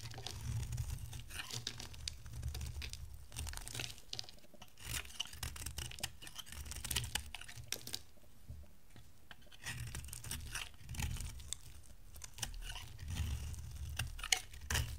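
An oval, solid green bar of dry soap is held in the hand and carved with a box-cutter blade into chunky flakes. The clip is full of crisp, dry scraping and crunchy tearing cuts, with sharp bright clicks over a steady low rumble.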